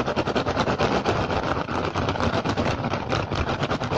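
Fingertips and short nails of both hands rapidly scratch and tap the woven surface of a large, hollow rattan/straw basket with a pink and green pattern, its contents not visible. The result is a dense, steady stream of quick dry taps and crackly, rustling scratches, mostly midrange with a bright edge, and each tap fades almost immediately.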